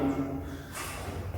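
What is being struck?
Nothing is struck.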